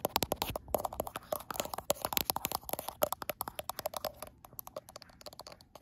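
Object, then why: Glass smartphone back. Long acrylic nails tap and scratch the frosted glass back of a gold iPhone Pro near the camera lenses. About forty sharp, bright clicks come in a quick, irregular run, each dying away almost instantly with a faint tone around 600 Hz. Soft scratchy rubbing fills the gaps between taps.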